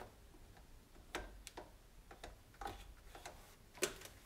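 A hand rubs a cloth over the white plastic control panel and knobs of an electric range. Quiet, soft rubbing is broken by several sharp, bright ticks and clicks, the loudest near the end.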